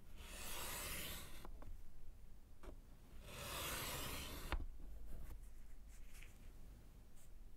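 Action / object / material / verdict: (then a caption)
scrape / slate chalkboard in a wooden frame, with chalk / slate / none. A gloved hand draws lines with white chalk along the bottom of a small slate chalkboard in a wooden frame lying flat. Two long, bright, scratchy strokes are heard, separated and followed by brief sharp taps, over a steady low hum.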